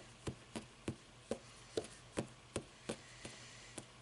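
Long nails tap and scratch the cover edges and page block of a closed hardcover paper book standing on end. A steady series of short, dry taps, each dying away almost at once, is heard with faint scratching between them.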